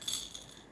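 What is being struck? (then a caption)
Soft toy bear with a rattle insert. A small toy bear for a baby, with a rattle inside, is shaken and gives two quick, bright jingling rattles. The sound is high and tinkling with almost no low end and fades within a fraction of a second.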